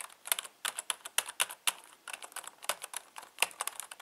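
Fingertips type on the letter and number keys of a full-size black plastic Logitech K120 membrane keyboard with a hollow housing. About two dozen quick, dry, bright clicks and clacks come in an uneven typing rhythm, each dying away almost instantly. The sound is light and hollow with no low thump.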